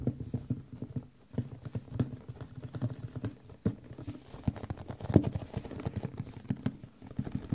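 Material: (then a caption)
Cardboard. A medium white printed cardboard microphone box (Audio-Technica packaging), hollow and held in both hands, is tapped quickly along its sides with fingertips and nails. The result is a fast, uneven run of dull, low, hollow knocks with short, bright clicks from the nails.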